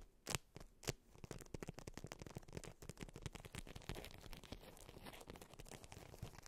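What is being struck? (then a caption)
Beeswax-coated fabric wrap. A polka-dot beeswax-coated fabric wrap roll, held at both ends, is tapped and scratched with long white nails. Two sharp taps open the clip, then a dense run of quick, crinkly scratches and taps on the waxed fabric continues steadily to the end.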